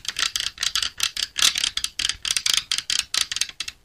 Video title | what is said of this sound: Maliuntinuvu Vlog -- Helm GM New Imprezza, Gaul pada Masanya (Beserta Road Test) -- #sultengvlog | digoyang-goyang gini aja, itu ketahuan bunyinya, apalagi ditepuk-tepuk kayak gini